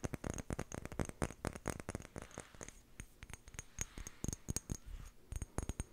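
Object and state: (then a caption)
Small glass jar tapped with fingernails. Long painted nails tap and scratch the sides of a small hollow amber glass jar with a white plastic screw lid, held in the hands, its contents not clearly visible. A rapid run of short, dry clicking taps with bright glassy ticks is heard, thinning into softer scratches midway before quick tapping picks up again.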